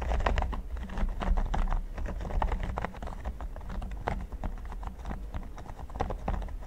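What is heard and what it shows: Fingertips and nails tap rhythmically on a flat, solid red silicone pyramid mat. The result is a dense run of short, dry, irregular clicks and soft thuds over a steady low hum, with no lingering ring.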